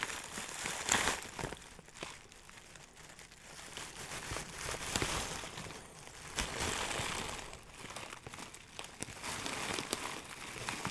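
A hand-sized clear plastic zip bag full of dry, loose herb buds is crinkled and squeezed with fingers. Bright, papery crinkling and crackling swells and fades in waves for about eleven seconds, with sharp crackles standing out.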